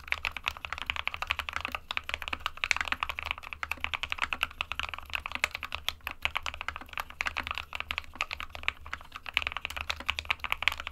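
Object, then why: Plastic-cased mechanical keyboard with plastic keycaps. Fingertips of both hands type continuously on a small 60% SK61 mechanical keyboard with a white plastic case and plastic keycaps, resting on a desk mat. A steady, rapid stream of short, dry, bright clicks fills the clip, centered around 2.4 kHz, over a faint low hum.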